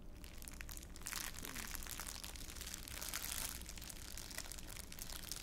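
A thin, clear, empty plastic bag is held up close by the face and crumpled with the fingers of both hands. It makes a steady, quiet, bright crinkling and crackling with a low rumble underneath, and the crinkles swell slightly in places without pausing.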